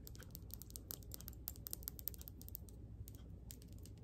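Rapid, dry clicking and light scratching as fingernails quickly tap and scratch a solid, palm-sized rough yellowish crystal stone (possibly citrine or calcite) held up in both hands. The taps are short and bright with no ring, over a steady low background hum.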